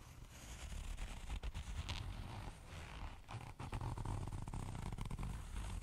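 Long nails scratch and tap the glitter-coated surface of a small, soft, flat pink zipper pouch that seems empty. A steady, dense scratchy rustle with a heavy low rumble runs throughout, broken by quick dry ticks and brief dips.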